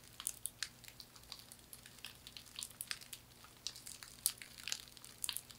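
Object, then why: Woven straw hand fan. A thin, flat hand fan of woven palm or straw in a herringbone weave is scratched with long nails and flexed and squeezed in both hands. It gives a quiet, steady run of dry, bright crackles and crinkles, made of many short, sharp ticks that vanish almost instantly.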